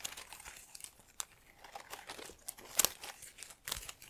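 A small artificial trailing plant with plastic leaves in a black pot is held in one hand while long nails and fingertips rub and crinkle the leaves. The result is quiet, dry, bright crinkling and rustling in quick, uneven bursts, with a few sharper crackles standing out.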